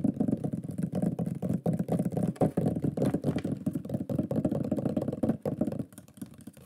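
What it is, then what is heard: Thin wooden plaque. A thin, shield-shaped wooden plaque with a pyrographed lion is tapped rapidly with fingertips and nails across its face. The result is a dense, uneven patter of dull, muffled, low-pitched knocks with almost no ring. The tapping softens and thins out near the end.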